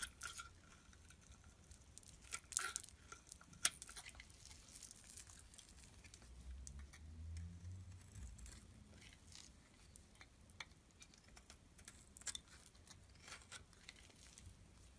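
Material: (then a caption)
Soap. A metal blade repeatedly shaves curls off a solid black and white striped bar soap held in the hand. Quiet, dry scraping and crisp, bright crackles and ticks come in short bursts over a faint low rumble, with a few sharper snaps standing out.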